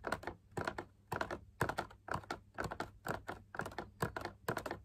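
A large hollow drum lamp shade, made of fabric over a stiff backing and perforated with swirl patterns on a white metal wire frame, is tapped and scratched on its inner wall with fingertips and nails. Quick clusters of dry, soft clicks repeat about every half second, each dying away almost at once over a faint low hum.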